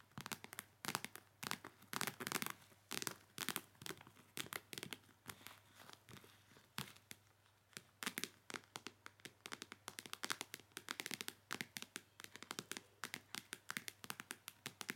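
Long matte acrylic nails tap and scratch a small, clear PVC makeup bag with pink zipper trim that holds makeup items. The result is dense, rapid clicks and crinkly plastic scratches with a bright, crisp edge. A few short pauses break up the sound.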